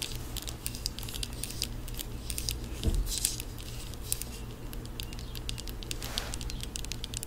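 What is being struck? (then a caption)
Small plastic cosmetic jar. A small white plastic cosmetic jar with a lid is held close to the microphone and tapped with long acrylic nails. The taps form a rapid, irregular patter of light, crisp clicks over a steady low hum, with a slightly heavier knock near the three-second mark.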